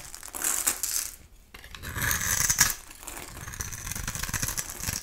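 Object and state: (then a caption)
Bar soap shaved with a blade. A metal utility-knife blade scrapes across a solid, translucent orange oval bar of soap held in the hand, shaving its surface into flakes. Bright, crisp scraping rasps come in two louder bursts separated by a brief near-silent pause, then settle into a softer, steady shaving texture to the end.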